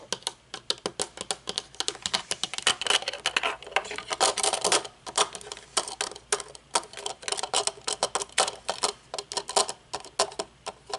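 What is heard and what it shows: Long painted nails tap the dark lenses and metal frame of aviator sunglasses resting on a wooden table, and fidget with the thin metal temple arm. The result is a steady stream of dozens of sharp, bright, dry clicks that die away almost instantly. Around the middle they blur into denser, scratchy rubbing before separating into crisp taps again.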